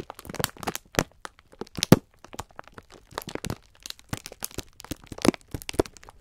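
A clear plastic-film pack of sponge scourers is held in both hands while the fingertips squeeze and rub it. Dense, irregular crackling and crinkling bursts of the plastic continue throughout, dry and short with no ring, spread from low to high.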